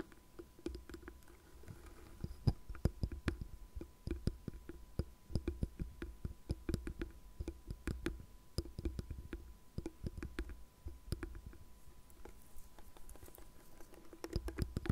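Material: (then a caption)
Plastic. Long painted nails tap and scratch the flat back of a hollow-backed, light blue plastic paddle hairbrush shaped like a cat face, lying on a desk. A quick, uneven stream of short, dry clicks rings with a low, hollow thump, with soft scratching between taps over a faint steady hum.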